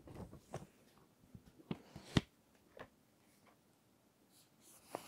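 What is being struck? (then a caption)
Paper magazine pages. Fingertips and long nails slowly turn and smooth the text pages of an open paper magazine. Soft, low papery rustling and brushing runs throughout, broken by five short, sharper crinkles and taps that die away almost instantly. The overall level stays quiet and close.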